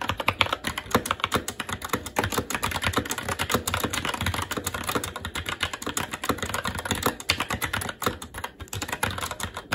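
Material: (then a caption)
Plastic. Fingertips of both hands type continuously on a SteelSeries Apex 7 TKL mechanical keyboard with Red switches, black plastic keycaps on a metal plate, and a hollow RGB-backlit case resting on a desk. A steady, rapid stream of short, bright plastic clacks and taps with a slight hollow thud beneath runs through the whole clip, each keystroke dying away almost instantly.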